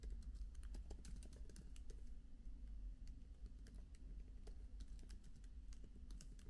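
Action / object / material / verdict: tap / laptop keyboard, plastic keys on aluminium body / plastic / none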